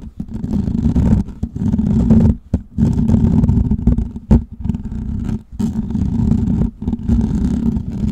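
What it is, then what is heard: Metal mesh microphone grille. Fingertips and nails scratch a hollow, perforated metal mesh microphone head, first with both hands and then with one. The result is a dense, rumbling, low-heavy scratching with little brightness, broken by a few brief pauses.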